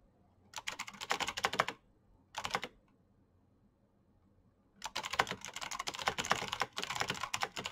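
Fingertips type on a black Razer mechanical keyboard with plastic keycaps and clicky switches, at a slower pace with pauses. Bursts of bright, sharp clicks come first, then a short flurry after a gap, then a longer stretch of steady typing to the end. The clacks are crisp with almost no low end, and each stops dead right after it lands.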